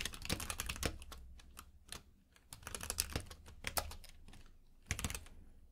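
A compact mechanical keyboard with plastic keycaps in a grey frame, lying on a purple rug, is typed on with the fingertips of both hands. Rapid, bright key taps come in quick bursts, with short quiet gaps, a low thud under each press and almost no ring.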